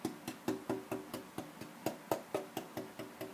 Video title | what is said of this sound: Black Pearl Jumbo-Shaping the top braces- Maple Jumbo Guitar for "LOCAL MUSIC GEAR" | It does sound big with a lot of high tone upper mid.